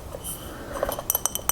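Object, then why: Glass mason jar. A light blue glass mason jar resting on a frame is tapped five times, each a clear, bright glassy clink that dies away almost instantly, with a few softer clinks just before.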